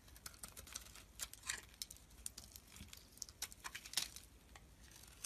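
A metal blade shaves thin layers off a rectangular, solid green embossed soap bar held in the hand. The sound is a quiet, steady run of bright, crisp scraping and crackling ticks, with irregular sharper snaps and very little low end.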